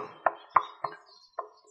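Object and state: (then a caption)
Solid aluminium swing arm. Four short knocks on the aluminium swing arm of a United TX1800 electric motorcycle, made from two castings joined in the middle. Each knock is a dull, dead tap centred near 1 kHz that dies away almost instantly with no ring, sounding solid and showing a rigid mounting.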